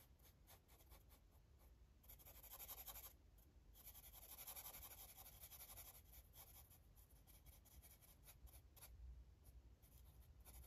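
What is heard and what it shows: A blue marker strokes across a paper coloring book page, rubbing and scratching the surface with a soft, dry, bright hiss. The strokes swell into longer, louder passes in the middle of the clip, then continue as shorter, lighter scratches over a quiet low background rumble.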